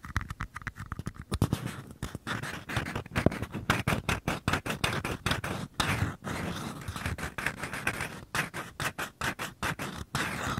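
Fingertips tap and scratch the outer walls of two identical small, empty, hollow white paper cups, one held in each hand close to the microphone capsules. Quick, dry, papery taps with a low hollow body alternate with scratchy scraping in a rapid, irregular stream, each sound stopping almost instantly.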